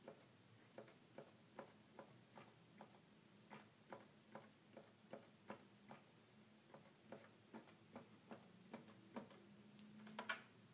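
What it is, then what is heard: Plastic toy keyboard keys. Single fingertips tap the keys of a hollow red plastic toy keyboard, producing a steady series of soft, sharp plastic clicks with very short decay. A faint low hum sits underneath, and the last tap near the end is the loudest and brightest.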